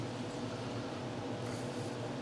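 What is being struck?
Nothing is struck.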